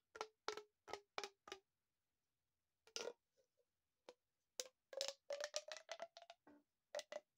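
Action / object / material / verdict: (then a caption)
scrape / corrugated plastic pop tube / plastic / none. An empty, long, hollow, corrugated blue plastic pop tube is held in both hands with the fingertips and stretched, compressed and bent so its ribbed sections pop and click. Five short, bright pops ring with a tone near 575 Hz, followed by a pause with a few faint clicks. A rapid, irregular burst of pops then follows, its pitch edging slightly upward.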